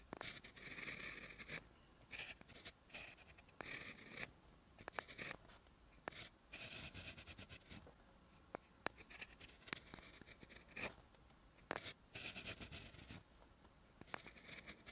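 A clear plastic gel pen held in the fingertips writes on a page of lined white notebook paper. Bursts of bright, dry scratching come in short strokes, broken by sharp little ticks and quiet pauses between words.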